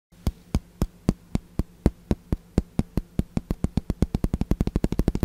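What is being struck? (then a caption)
Wooden table tennis paddle with rubber face. Fingertips and nails tap on the red rubber face of a wooden ping pong paddle with blue edge tape, its solid flat blade held up close. The 33 short, deep, dull taps start slowly and evenly, then speed up into a quick patter toward the end, over a faint low steady hum.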